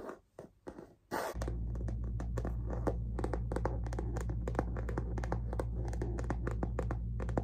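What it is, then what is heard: Leather-trimmed canvas handbag. Long fingernails tap and scratch the tan smooth leather base band of a medium, hollow handbag with a plaid canvas body. A few soft scratches open the clip, then quick, uneven dull taps continue over a steady low hum.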